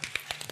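Outer leaves are snapped off a fresh artichoke while it is being cleaned, making five quick, crisp, bright cracks with almost no ring. The crisp cracking shows the artichoke is fresh, since a limp one would make no sound as its leaves come off.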